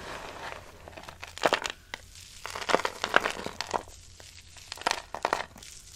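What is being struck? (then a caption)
Soap shavings. Pale green dry soap shavings are pressed flat with the palm and crushed in a cupped hand. This gives dry, crisp crackling and crunching in short bright bursts with no ring, over a faint low hum. The loudest crunches come in clusters around the middle and near the end.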